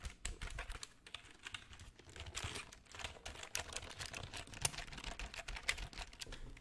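Fingertips type on the plastic keys of a black, full-size plastic computer keyboard held in front of the microphone. A quiet, steady stream of short, dry clicks and taps, bright on top with a soft low thump, continues for the whole clip. A few sharper keystrokes stand out.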